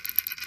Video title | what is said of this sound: Lego City Square Set Review | if you shake it, you can hear the coffee inside it